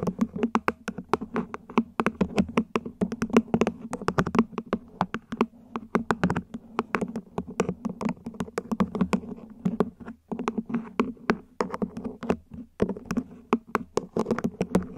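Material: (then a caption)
Plastic. Long nails tap the base edge and sides of a small, hollow, mint-green ribbed plant pot, probably plastic, set upside down. Quick, dry, tightly spaced clicks come in rapid runs with brief pauses, each tap short with a low hollow body tone under a bright click.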